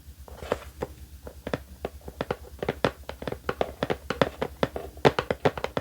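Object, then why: Cardboard box. Fingertips tap on the cardboard box a mug came in, a fast run of short, dry taps with almost no ring. The taps have a hollow, mid-pitched knock around 450 Hz, and a low hum runs steadily underneath.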